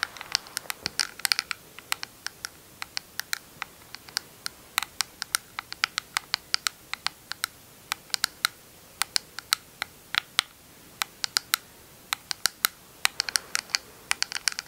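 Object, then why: Small plastic compact with metal lid. Long acrylic nails tap and scratch a small, round, hollow Urban Decay Moondust eyeshadow compact, made of plastic with a metallic lid and held up in both hands. Dozens of sharp, bright clicks come in quick, uneven bursts, each dying away almost instantly, with brief soft scratching between some of them over a quiet background.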